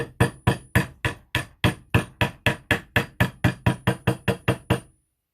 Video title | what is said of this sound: How to make wood joints Dowel Joints | you can just hear the change in tone of the pitch